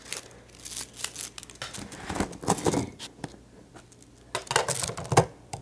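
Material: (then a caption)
Plastic. A small rainbow-colored plastic slinky, a hollow coil spring toy, is held in the hands, stretched, shaken and let clack together, then set on the desk. Light, bright plastic clicks and rattling bursts come in uneven clusters with a dry, crinkly rustle between them and almost no ring. A louder flurry of clacks near the end gives way to a final soft tap.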